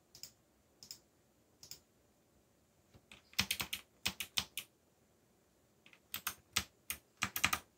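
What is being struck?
Mechanical keyboard with plastic keycaps.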